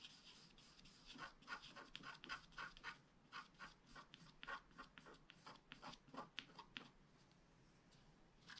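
A wooden stylus scratches the coating of a flat black scratch art card made of wax-coated paper. It makes a quiet, uneven run of short, dry, bright scraping strokes with little low end, then fades to a faint hiss near the end.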